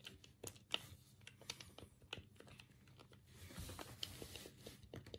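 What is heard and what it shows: A black, hollow plastic Sega Mega Drive 3-button game pad is held in both hands over a cutting mat while thumbs press and click the D-pad and the A, B and C buttons. The result is an irregular run of short, dry, bright plastic clicks and taps with almost no ring, over a faint soft rustle.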